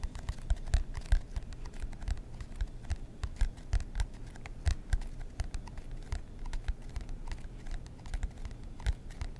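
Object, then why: Cardboard notebook cover. Fingernails scratch the cardboard cover of a marbled composition notebook held close to the mic. Quick, uneven scratching strokes come as a dense run of short, dry ticks over a heavy low rumble, with sharp bright flicks on the strongest strokes, all quick to die away.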